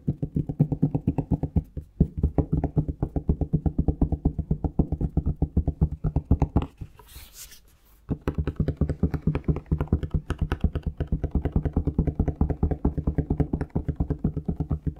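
Fingertips tap rapidly on a plastic Palmolive shower gel bottle held close to the mic, making a steady stream of short, hollow, low-pitched thumps with almost no ring. Around the seventh second the tapping breaks off into a quieter stretch with a brief soft hiss, then the fast tapping picks up again and runs to the end.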